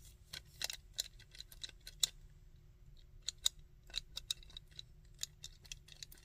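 Fingertips and nails tap and scratch the head, back and legs of a small, chunky, painted hard-plastic Sandman action figure. Quiet, dry, bright clicks and brief scratchy rustles come at an uneven pace, each dying away almost instantly over a faint, steady low hum.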